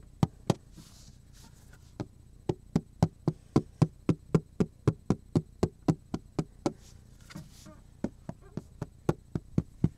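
Fingers knock and tap on a thin, solid black plastic cutting board with a handle slot, held upright beside the face. About 30 short, dull, low knocks arrive in a quick, slightly uneven rhythm, with brief pauses near the start and again toward the end. Each knock dies away almost instantly with no ring.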